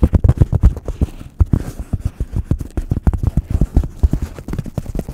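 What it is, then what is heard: Styrofoam block. Fingertips tap and scratch the surface of a solid, hand-sized white block of polystyrene foam held close to the microphone. A quick, uneven run of dull, low thuds with almost no ring follows, with faint soft scraping between the taps and little bright content.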